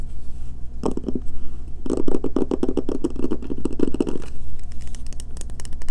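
Medium painted nails rapidly tap and scratch an unwrapped, solid, palm-sized, pale green bar of Castile soap, first while it rests on a table and then while it is held in hand, leaving soap shavings on the table. The result is a fast run of short, dry clicks and scratchy scrapes with bright edges over a steady low hum.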